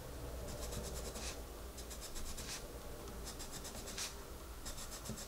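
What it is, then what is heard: Pencil colouring on a paper page. A pencil tip rubs across the paper page of an open coloring book on a table, coloring in a rabbit's face, held by a hand with red nails. Bursts of quick, bright scratchy strokes come and go over a steady low hum.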